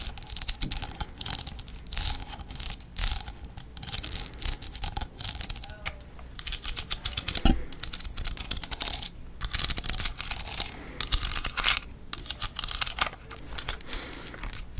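A cream-colored, hollow plastic fish skeleton figure with ribs and teeth is held in one hand and tapped and scratched with long nails. Quick, dense bursts of bright, dry clicking and raspy scratching come in rapid flurries with brief pauses. Each tick stops almost instantly.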